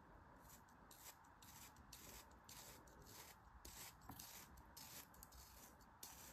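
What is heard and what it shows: A thin metal blade scores a grid into a flat, solid piece of pink kinetic sand resting on the palm, scratching and crumbling the sand. Quiet, gritty scraping strokes repeat at an uneven pace, each a dry, bright hiss.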